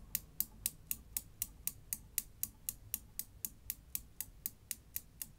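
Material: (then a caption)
Steel. A Newton's cradle of five small solid chrome steel balls on strings is set going by lifting and releasing the end ball so it knocks the row. This produces a steady run of about 21 sharp, bright metallic clicks, roughly four per second, each dying away almost instantly. The clicks sit over a faint low rumble.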